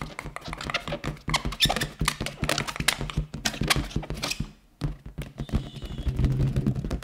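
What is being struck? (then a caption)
Inflated latex balloon. An inflated, round yellow latex balloon, hollow and air-filled, is held and tapped with fingertips and long nails, producing a rapid patter of short, thunk-like taps with deep bodies and bright clicky edges. After a brief near-silent pause, the tapping resumes and shifts into a denser, softer rubbing with a faint squeaky high tone.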